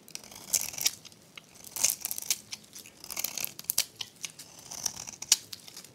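A metal blade scrapes thin, crunchy shavings from the face of a dry, solid, rectangular pink soap bar held in the hand. Quick, dry crunching and crackling scrapes come in uneven bursts, all bright and high with almost no low end.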